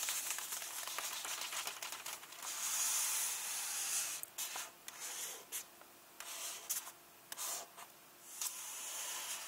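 Fingertips rub and tap the illustrated glossy page of an open hardcover book while fingernails trace the picture. The result is a bright, hissy scratching and rubbing with soft taps. Steady rubbing in the first few seconds gives way to short, separate strokes broken by quiet pauses.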